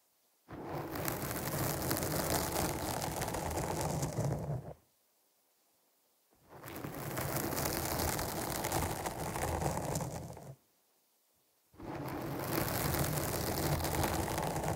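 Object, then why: Foam microphone windscreen. Long nails scratch across the surface of a black foam windscreen on a microphone while the other hand holds its side. Three sustained bursts of dense, crackling scratch noise, heavy in the low end with a bright hiss on top, are separated by two brief silences.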